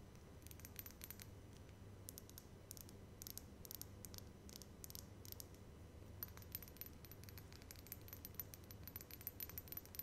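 Long red acrylic nails tap rapidly on a small, cylindrical, dark blue Yves Rocher "Filler Vegetal" serum bottle with a pump top, which appears to be filled with liquid and is held up in both hands. The bottle looks like glass but could be hard plastic. The quiet, bright, clicky taps come in clustered bursts with very short ring, over a steady low hum.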